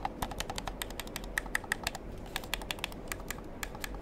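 A black plastic gamepad is held in the hand near the mic while fingers press its buttons and triggers, producing about thirty quick, dry, bright plastic clicks over a low, steady background hiss. Each click is sharp and dies away almost at once, leaving an irregular tapping rhythm much like typing.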